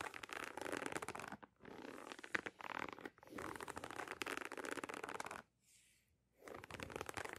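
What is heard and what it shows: Long nails scratch and tap the leather side panel of a single cream Nike Dunk-style sneaker with a red swoosh, held close to the microphone. Dense, bright scratching bursts come in stretches broken by short pauses, with a faint, thin hiss during one quieter gap before the scratching resumes.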